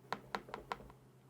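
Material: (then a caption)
Glass. A stylus is tapped five times on the glossy glass screen of an iPad A16, giving short, hard clicking clacks with a bright edge and a tone near 1 kHz; the last tap is faint. The sharp 'tak' click is considered very annoying, unlike the Huawei's matte, paper-like screen, which does not make this sound.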